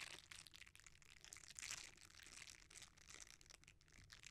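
A red silicone bristle scrubber, rolled into a tube, is squeezed and rubbed by fingers. The result is a quiet, continuous, bright crinkling and crunching texture that swells and fades without clear separate hits.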